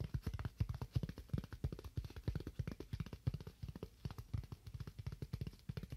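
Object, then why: Styrofoam slab. A solid, hand-sized white styrofoam slab is held and rapidly tapped or scratched with fingernails. The result is a dense, uneven stream of short, dull, low thuds with almost no ring, plus a faint scratchy texture.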